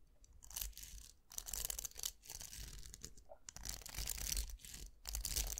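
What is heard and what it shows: Fingertips scratch and flick the plastic bristles of a round styling brush with a hollow vented metal barrel and a black handle. Bursts of bright, crackling, tearing-like scratches come and go with short quiet gaps, over a steady low hum.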